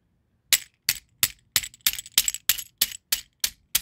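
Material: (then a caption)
Shell. Fingertips press, squeeze and rub dry scallop seashells through a plastic mesh net bag resting on carpet. Eleven bright, crackly clicking bursts follow in a fairly steady rhythm, each a short cluster of sharp shell-on-shell chinks with almost no low end and no lingering ring.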